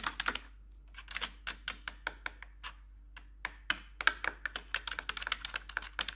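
Long pointed metal nail tips over blue gloves tap and scratch on the hollow keycaps of a full-size black plastic RGB-lit computer keyboard. Quick, bright clicking taps come in uneven bursts with short gaps, each click dying away almost instantly over a faint steady hum.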